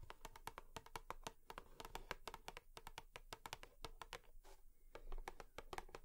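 A cardboard tissue box is tapped rapidly with long nails, giving a steady stream of crisp, dry clicks with a hollow, woody tone. Each tap dies away almost at once over a faint low rumble, with a brief softer brushing sound near the middle.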